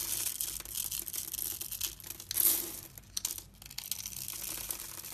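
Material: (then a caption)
Soap. A metal utility-knife blade scores and scrapes the surface of a solid, palm-sized, rectangular blue and white striped bar of soap held in one hand, cutting it into small cubes that crumble off. The sound is a dense, bright, crinkly scraping with rapid crackling ticks and almost no low end, swelling to a louder burst of crumbling near the middle before settling into steady, softer scraping.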